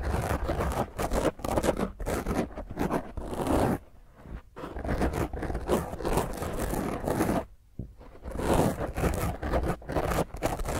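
Long painted fingernails scratch fast and roughly across a black foam microphone windscreen, making dense, crackling scrapes with a heavy low rumble. The scratching runs in continuous bursts, with brief quieter gaps near 4 seconds and just before 8 seconds before the rough scratching resumes.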